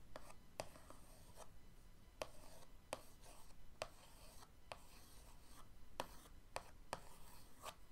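The end of an orange paintbrush is traced in patterns across the lid of a closed, printed cardboard box of acrylic paint tubes lying flat on a dark wood table. It makes a quiet, continuous dry scratching and rubbing with a hushed, bright texture, broken by nine short, sharp ticks.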